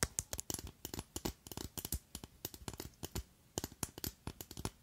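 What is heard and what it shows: Long acrylic nails tap and scratch along a long, slender clear glass perfume bottle with a red cap that holds liquid. A rapid, uneven series of short, dry clicks each carries a bright top and a soft low thump and dies away almost at once, with faint scratchy rubs in the gaps between them.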